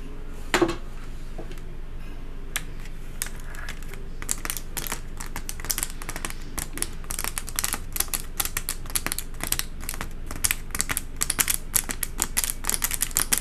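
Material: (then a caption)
Paper. Long acrylic nails tap and scratch the wavy, textured white paper lining inside an open cardboard box. The result is a rapid run of short, dry, crisp clicks with bright papery scratches. The tapping starts sparse and grows faster and denser toward the end.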